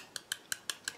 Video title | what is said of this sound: Mini Fruit Meringues - Perfect for Parties! | if you tap them, they're going to sound hollow. So that's how you know that they're cooked